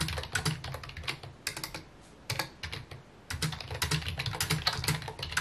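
Fingertips type rapidly on a full-size white and mint plastic computer keyboard with a hollow housing, resting on a wooden desk. Bright, clattering key taps come in irregular bursts over a low, hollow thump, with brief pauses around the two- and three-second marks before the typing resumes.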